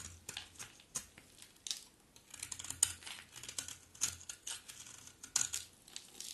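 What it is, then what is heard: Dry bar soap being scraped. A utility knife blade scrapes curls from the face and edge of a solid, dry, terracotta pink-brown bar of soap. The result is a rapid series of short, bright, crisp scraping and shaving strokes with almost no low end, and each stroke stops almost immediately. A faint low hum sits under some of the strokes.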